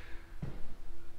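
Footsteps on wooden staircase treads give a short, low, dull thud around 0.4 seconds, with no hollow ring or shifting. The treads sound rock solid.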